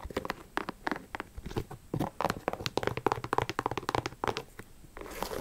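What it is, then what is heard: Leather sneaker. Long acrylic nails tap and scratch a hollow pink and black high-top sneaker with a leather/synthetic upper, held in the hand. A rapid, uneven run of short, dry clicks and crinkly scratches, centered around 400 Hz, stops almost instantly after each hit. A soft, steady scraping hiss fills the last half second.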